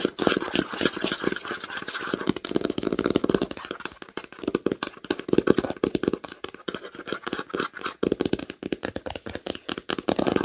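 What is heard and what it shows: Long nails rapidly tap and scratch the cover of a red cloth-bound hardcover book lying flat. The result is a dense, uneven stream of dry, muffled clicks with a low-mid body, mixed with soft scraping, and each tap dies away almost instantly.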